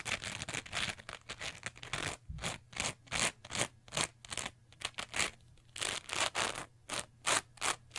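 A small, soft, porous teal foam sponge with a bumpy textured surface is held in both hands, squeezed and scratched with long nails and fingertips. It makes a rapid, uneven series of bright, scratchy rasps and rustles, each short burst stopping dead with almost no ring. A faint low hum runs steadily underneath.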